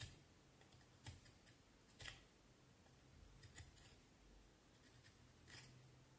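A small knife blade scrapes and shaves the side of a solid vine wood branch in short carving strokes. Quiet, bright scratchy bursts stand out over a steady low hum, with brief pauses between strokes.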